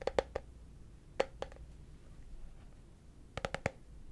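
A small, hollow, translucent frosted plastic case, apparently empty, is held in the hands and tapped with the fingertips on its lid and sides. Ten short, hollow clicks ring briefly around 520 Hz with a bright edge, in loose groups of three, three and four, with quiet pauses in between.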